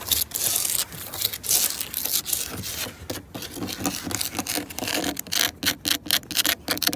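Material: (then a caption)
Wood. Long nails scratch quickly across the grain of solid, grey, weathered wooden deck planks and tap on them. The result is fast, bright, raspy scraping bursts broken by short dry taps, with a light low-mid body and little ring.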